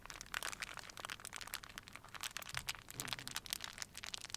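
A small crumpled wad of clear plastic wrap is rubbed and crinkled between fingers and palms. It makes a quiet, rapid stream of sharp, bright crackles and crinkles with almost no low end, and each snap dies away instantly.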